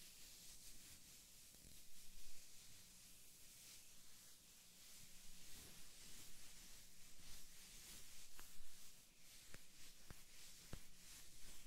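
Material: Nothing is struck.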